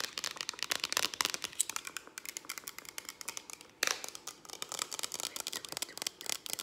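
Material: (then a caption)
Aluminium, plastic. Long dark acrylic nails tap fast on the ribbed purple plastic cap and the metal body of a Farmdale aluminium whipped cream aerosol can held close. The result is a rapid, dense patter of crisp, bright clicks with almost no low end and no ring, with a louder burst of taps near the middle.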